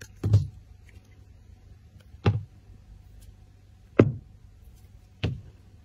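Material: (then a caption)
Glycerin soap. A steel utility knife blade scrapes and cuts thin slices off the surface of a solid, translucent, palm-sized round clear glycerin soap disc with colored swirls, held in the hand. Four short, separate scraping strokes are heard, each a brief burst with a dull low body and a faint bright edge that dies away quickly into near silence.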